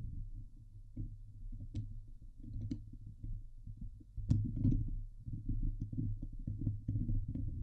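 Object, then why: Steel mesh microphone grille. Long glitter nails scratch the hollow steel mesh dome grille of a Blue Yeti microphone, producing a dense, low, rumbling scrape with scattered sharp, bright clicks. The scratching grows louder and busier from about the midpoint onward.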